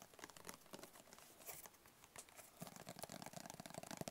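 A closed, hollow black rigid cardboard gift box with a white label is tapped with fingertips and short nails. Soft, dry, crinkly taps with bright clicky edges die away almost instantly. After a quieter start, the tapping turns quicker and slightly louder, with a fuller, hollow low-mid thud.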